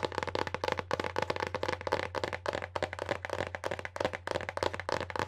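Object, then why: Hardcover book with paper-covered board cover. Long nails and fingertips tap and scratch across the decorated paper-covered board cover of a solid hardcover book held in both hands. A quick, uneven run of crisp, hollow clicks with short scratchy strokes between them sits over a faint steady low hum, each tap dying out almost at once.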